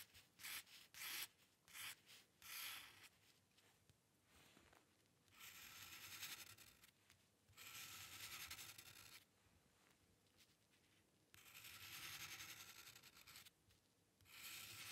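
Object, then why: Paper sheet and metal pen nib. The metal nib of a dip pen scratches across a flat sheet of white drawing paper, drawing hair strokes. A run of short, quick, bright scratches gives way to longer, steady scratching passes separated by brief quiet pauses. The sound is soft, dry and high-pitched, with almost no low end.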